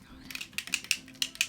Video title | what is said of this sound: Beautycon & Bright Lights Palette ~ First Impressions | you shake it up it sounds like a spray bottle because they have something in there